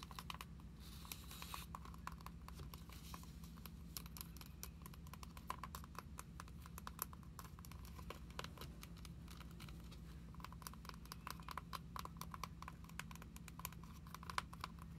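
A glossy plastic-covered card binder is held upright and tilted while long acrylic nails tap and scratch along its edge and spine. The result is a quiet, steady stream of rapid, dry clicks and light scratches over a constant low hum.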